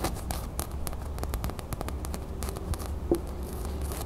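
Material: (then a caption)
Cotton canvas. Long nails scratch a small beige cotton canvas drawstring bag with a gold printed crown, first on the table and then while it is held up in the hands. The result is a steady, quiet stream of short, dry scratching and rustling strokes with brief bright edges over a low rumble.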